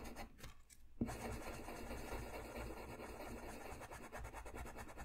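A wooden colored pencil is rubbed and scratched across a thin, flat sheet of white drawing paper lying on a white desk while coloring. After a brief, quiet start, a sharp tap at about one second begins steady, low, scratchy rasping strokes that continue to the end.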